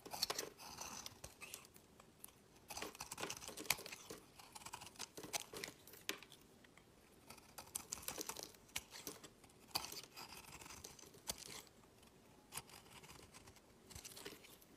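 A utility knife blade shaves curls off a solid, palm-sized green olive oil soap bar held in the hand, with a second uncut bar sitting untouched nearby. Quiet, crisp, bright scraping and crackling strokes come in bursts, each with a brief dry rasp and almost no low end or ring.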